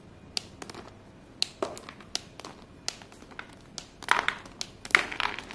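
Small solid pieces of white chalk are grabbed by the handful and crushed between fingers and palms over a pile on a blue surface. Brief, bright crumbling crunches and taps arrive at irregular intervals, building into denser, louder crushing near the end.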